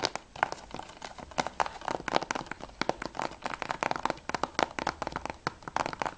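Long nails rapidly tap and scratch the back cover and edge of a closed, hollow grey plastic PS3 game case. The result is a fast, uneven stream of crisp, dry clicks with a hollow plastic tone around 700 Hz, each dying away almost instantly. Brighter crinkly scratching noise fills the gaps between the taps.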